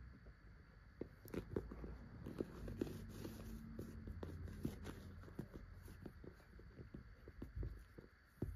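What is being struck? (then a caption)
Flexible PVC zip pouch. A child's fingertips tap and scratch on a small, hollow pink transparent PVC cosmetic bag, a see-through vinyl zip pouch that looks empty, while handling it on a couch. Soft, quick taps with no ring and light crinkly scratching make a low, muffled patter on the flexible plastic.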